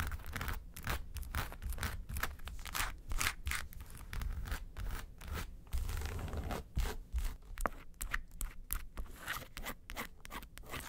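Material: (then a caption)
Faux leather. Long nails scratch the sides and then the front of a small, hollow, yellow textured faux-leather makeup suitcase. The sound is a quick, uneven run of dry scratching strokes with a dull, hollow low body under each stroke.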